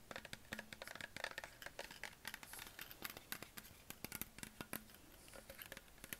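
A hollow green Perrier PET plastic bottle, held at the base, is scratched and tapped with nails and fingertips. A quick, irregular stream of dry clicks and crisp scratches follows, with a plasticky ring around 1.8 kHz and a faint low hum. Each tap stops almost at once, leaving bright, brittle textures.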